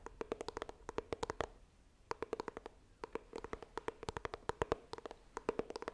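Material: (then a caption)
Cardboard. Long nails tap rapidly on the front of a small, hollow white iPhone retail box made of coated cardboard, held upright. The sharp, clicky taps carry a hollow, boxy tone around 445 Hz with bright edges and almost no ring. They come in quick bursts, with a brief pause near the two-second mark before the tapping resumes.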